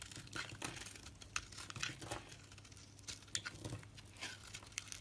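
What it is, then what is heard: Bar of soap being shaved. A solid pale green soap bar with a red rim, held in the hand, is scraped and shaved with a metal blade. Dry, bright, crinkly scraping comes in quick irregular strokes with sharp little peaks over a faint low hum.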